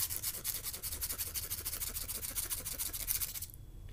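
A light-coloured emery board nail file is rubbed vigorously against fingernails in fast back-and-forth strokes. It makes a rapid, bright rasping hiss over a steady low rumble, and the filing stops just before the end, leaving faint background noise.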